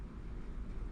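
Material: Nothing is struck.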